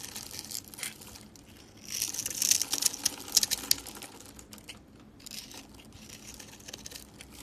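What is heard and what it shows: A metal blade scrapes and carves the surface of a hand-held, solid rectangular bar of dry green-and-white striped soap, crumbling green and white flakes onto a table scattered with soap curls. The sound is a dry, bright crinkling and crunching, with rapid crisp scrapes that swell louder in the middle of the clip before easing back to softer scratching.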